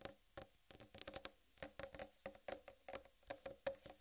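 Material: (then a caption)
Watermelon rind. Long red-painted nails tap and scratch a large whole uncut watermelon with a green striped rind, giving a quiet run of about sixteen quick, hollow knocks. Each knock has a mid tone near 550 Hz that dies almost at once, with bright scratchy patter between them.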